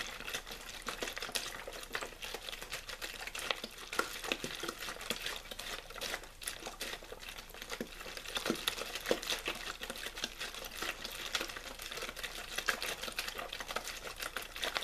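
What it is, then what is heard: Plastic water bottle being crinkled. Fingers squeeze and crinkle a hollow, clear plastic water bottle with a blue label. A steady stream of dense, bright crackles and crinkles runs throughout, with occasional sharper snaps standing out above the constant rustle.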